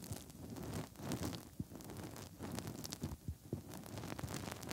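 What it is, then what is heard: Silicone ear of a binaural microphone, rubbed with fingertips. Bare fingertips push into and rub inside the hollow ear canal openings of the soft silicone ear shells on a 3Dio binaural microphone, like finger ear cleaning. The result is a quiet, low, muffled rumbling and rustling with soft thumps and brief squeaky rubbing, mostly below 200 Hz with occasional bright scratchy streaks.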